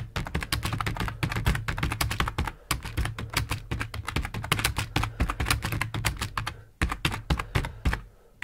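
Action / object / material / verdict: tap / plastic computer keyboard / plastic / none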